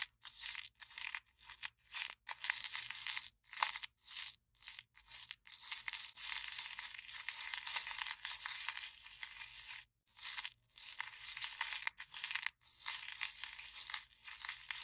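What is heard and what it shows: Long nails scratch and crinkle the wall of an empty, small, hollow white printed paper cup held in the hand. It makes dry, bright, crackling bursts of scratching broken by short silent gaps, with almost no low end.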